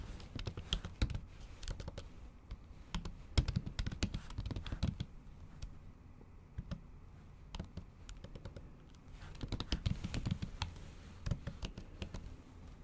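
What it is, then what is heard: Laptop keyboard with plastic cover, typed on with long nails. Long acrylic nails tap the keys of a MacBook keyboard covered by a thin pink plastic or silicone cover while typing. Quick bursts of short, dull clicks with sharp bright nail ticks run steadily, easing into sparser taps around the middle before picking back up into fast typing.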